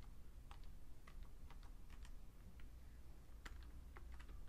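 A right hand presses the keys of a vintage beige plastic full-size Fujitsu Siemens computer keyboard with its fingertips. Short, quiet clicky key taps sound irregularly over a steady low hum.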